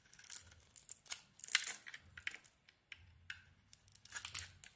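A utility knife blade scrapes curled pink shavings off a handheld solid pink pearlescent ISANA bar of soap. Short, dry, bright scraping and crackling strokes come in quick irregular bursts, each cutting off almost at once, with faint quiet gaps between them.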